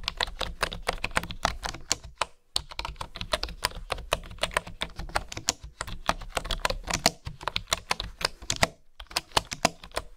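Fingertips and nails type and tap on the keys of a bamboo wooden keyboard, making quick, dry, bright clicks that stop almost at once. The typing runs in dense, uneven bursts, with short pauses around 2.4 and 9 seconds, over a faint steady low hum.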